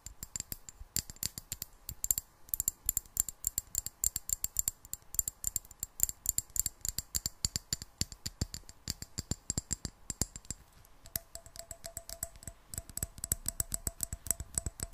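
Long black nails tap rapidly on the sides of a medium clear glass jar, partly filled with water and held in both hands. Dozens of quick, sharp clicks with a bright, glassy edge die away almost at once. In the last few seconds, a faint steady mid-pitched tone sits under the tapping.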